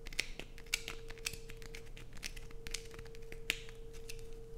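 Long acrylic nails dig and scratch into a solid, hand-sized, light-blue bar of soap held in the hand, shaving flakes off onto a dark plastic sheet. The result is a rapid series of sharp, bright, dry scratching clicks with very little ring. A steady low hum runs underneath throughout.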